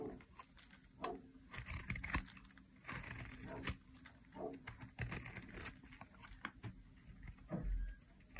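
A metal blade scrapes shavings off a dry, solid pink soap bar held in the hand. Repeated dry, crinkly scraping strokes come in short bright bursts with quiet pauses between them, over a faint low rumble.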